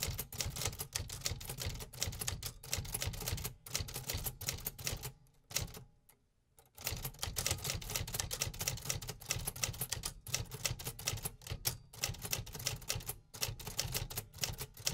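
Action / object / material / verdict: strike / metal manual typewriter / metal / none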